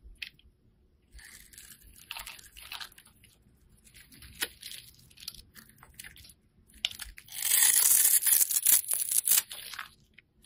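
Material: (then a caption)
Soap. A hand-sized solid purple oval bar of soap is held in one hand while a box-cutter blade scrapes and cuts it into cube-like shavings. Bright, crisp scraping and crunchy cutting sounds come in irregular bursts. Near the end the scraping grows into a louder, sustained stretch.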